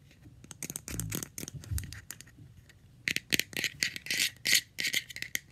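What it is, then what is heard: Plastic jar lid. Long red-painted nails tap rapidly on the top and rim of a round, light blue, palm-sized hollow plastic screw lid, off its jar. The taps are quick, irregular and bright, each with almost no ring: softer and sparser at first, then sharper and louder clicks cluster toward the end.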